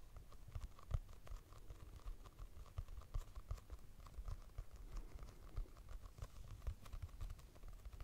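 Long nails tap across a purple hardcover notebook with a price sticker, its solid paper block giving quiet, dull, low clicks. The taps come in a steady, uneven patter of short knocks with no ring. Each one dies away at once.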